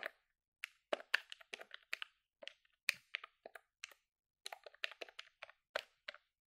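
Fingertips with long nails rapidly press the number keys of a hollow silver plastic desktop calculator with dark keys, held in both hands. About two dozen sharp, dry plastic clicks and taps come in quick, uneven bursts. Each click is bright and brittle with no low end, and stops almost instantly.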